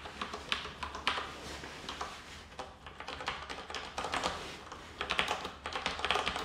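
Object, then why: Plastic mechanical keyboard. Fingertips of both hands type on a black plastic tenkeyless mechanical keyboard, a Roccat Ryos TKL with Cherry MX Brown switches, resting on a wooden floor. Irregular bursts of short, bright clacks and taps come in an uneven typing rhythm, each dying away almost instantly. A faint low hum sits underneath.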